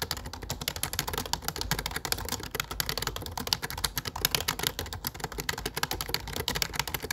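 Fingertips rapidly tap the keys of a low-profile plastic computer keyboard with dark plastic keycaps. The result is a dense, steady stream of short, crisp clicks with a bright, clacky edge and almost no ring after each press.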